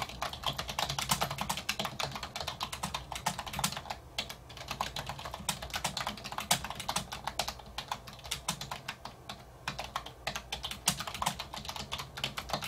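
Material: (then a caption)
Plastic. Fingertips type continuously on a black plastic wireless keyboard with hollow keys resting on a wooden desk, with no mouse in use. Rapid, bright, hollow clicks follow one another with short, dry decays and small pauses between bursts, over a faint low steady hum.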